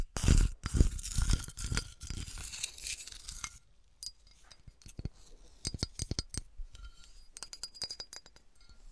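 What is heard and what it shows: A flattened, melted, empty clear glass bottle with a textured surface is held up and tilted while fingertips and long nails tap and scratch the glass. The first few seconds are a dense run of scratchy, clinking contact with low thumps. It then thins to sparse, sharp, bright glassy taps and clicks that die away almost instantly.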